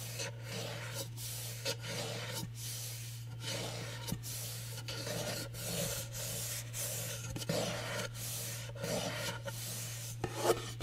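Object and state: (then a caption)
Glitter-paper cardboard gift box. Fingernails scratch the rough teal glitter-coated lid of a small hollow cardboard gift box reading "HOORAY," held upright close to a microphone. The rhythmic strokes make a dry, bright rasping texture over a steady low hum.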